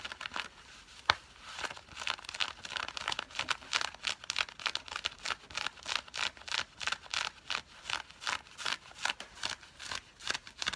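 Long fingernails scratch the fabric of worn, dark grey nylon-blend synthetic cargo pants with pocket flaps. The result is a quick, uneven run of dry, bright rasping strokes with a crinkly, papery texture and almost no low end. Each stroke cuts off sharply, with one louder scrape near the start.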